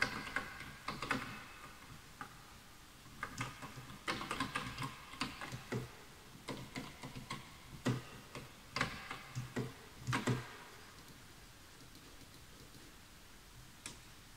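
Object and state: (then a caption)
Bamboo wood keyboard. Fingertips type on the letter and number pad keys of a full-size bamboo wood computer keyboard with wooden keys, while the mouse is left untouched. Short, dry wooden clacks come in irregular bursts and clusters, each dying away almost at once with a light, bright tick. The typing thins out after about ten seconds, leaving near-silence broken by one last tap near the end.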